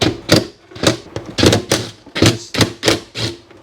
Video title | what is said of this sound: 1982 Honda CX500 Turbo Runs After 25 Years | it sounds solid. And what I mean by that, yeah, like the fuel has just congealed, coagulated, whatever word you want to use, on the bottom